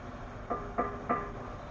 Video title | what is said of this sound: The MOST EXPENSIVE brick?- What's the price? - The Golden Bricks in China | in Chinese there's a saying it means it sounds like metal